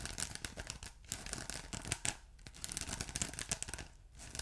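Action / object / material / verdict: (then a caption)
scrape / ridged polyethylene foam block / polyethylene foam / none. A ridged blue polyethylene foam block with a glittery texture, soft and solid, is scratched by fingertips and short nails. The result is a dense run of dry, bright scratching and crinkly rasps with soft low thumps underneath, broken by brief quieter gaps.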